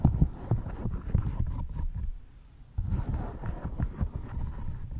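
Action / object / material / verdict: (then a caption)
tap / silicone pop-it bubble toy / silicone / none. A large rainbow silicone pop-it bubble fidget board, thin and flexible with hollow bubbles, is held close to the mic while its bubbles are pressed and popped and its surface is tapped with fingertips and nails. The result is a run of soft, deep, muffled thumps and pops that die away almost instantly, with a brief near-silent pause midway before the tapping resumes.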